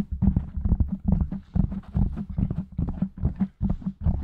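Fingertips from both hands rapidly tap and scratch the black foam windscreen on a silver microphone. The result is a fast, uneven run of deep, muffled thumps with soft scratchy rustle between them. The thumps are low and boomy, with almost no bright content, and each dies away almost instantly.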